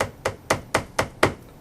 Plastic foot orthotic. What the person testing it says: this is an orthotic that has been deformed put your thumb in the center of the heel your index finger about an inch from the edge of the plastic at the end of the plastic tapping here listen for the clicking noise